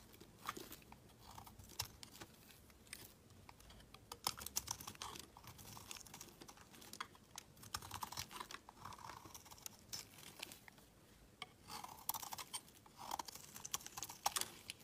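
A solid black bar soap, held in the hand, is scraped and shaved with a utility knife blade. The result is a quiet, steady run of short, crisp, bright scratching ticks that come in dense bursts with brief pauses, each dying away almost instantly.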